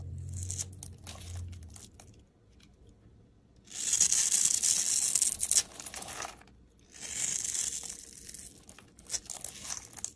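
A steel utility blade scores a solid, hand-sized green rectangular bar of soap held in the hand and cuts small cubes off its edge. Bright, dry scraping and tearing sounds come in two long, loud passages, with softer scratches and a faint low hum in between.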